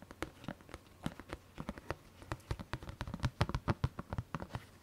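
Long fingernails on both hands tap and scratch the lid of a large printed Haribo plastic tub, which is held up and then laid flat and appears hollow. About 27 quick, irregular, dry taps sound with a hollow low body and almost no ring, mixed with light scratching. The taps grow louder toward the middle and end of the clip.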